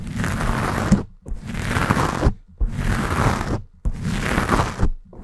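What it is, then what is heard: Foam microphone windscreen being scratched. Long painted nails scratch a black foam windscreen on a Blue Yeti microphone. Four long, rough scratching passes are separated by brief near-silent pauses, with a fifth starting at the end. The sound is a dense, rumbling scrape that sits mostly in the low range.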